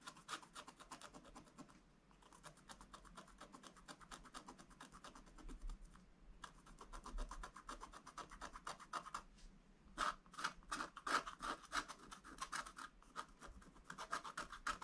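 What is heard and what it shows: A wooden stylus scratches a black-coated scratch-art paper page in steady hatching strokes, filling in a drawing of a tractor. The quick, dry, rasping strokes come in dense runs with short pauses near 2 and 6 seconds. After about 10 seconds the strokes turn louder and sharper, with a bright scratchy edge.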